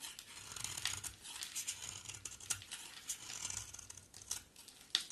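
A hand-sized, solid coral-orange bar of soap is shaved with a box cutter blade, and crumbly flakes fall off. The sound is quiet, bright scraping and crisp crackling with sharp little ticks scattered throughout, and almost no low end.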